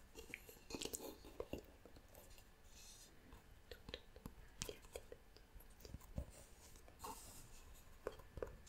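A medium, hollow, round wooden pot with a carved wooden lid is held in both hands while long nails tap and scratch across its lid and sides. Quiet, dry clicks and knocks with a slightly hollow woody tone die away almost instantly, separated by soft, hissy scratching with bright edges.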